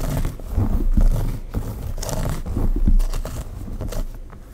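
Long pink acrylic nails scratch through the long dark hair of a bun, held by a cream claw clip on a mannequin head, at the nape and around the sides of the bun. The result is a steady, low, muffled rubbing and scratching that swells and fades in uneven strokes.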